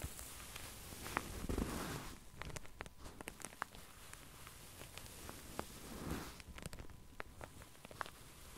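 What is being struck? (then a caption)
Padded satin sleep mask. Long painted acrylic nails scratch and tap across a soft, filled pink padded satin sleep mask with embroidered closed eyes, lying flat on a felt mat. Quiet, papery scratching and rustling swell and fade, with short, bright nail clicks scattered throughout.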